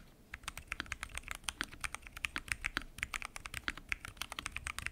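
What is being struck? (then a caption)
Mechanical keyboard with plastic keycaps and acrylic case. Fingertips type continuously on a full-size mechanical keyboard with lubed switches, pink and mint PBT keycaps and a transparent acrylic case. About 34 rapid, crisp keystrokes sound in an uneven rhythm, each a short bright clack centered near 2 kHz. Each keystroke dies away almost instantly over a faint low background.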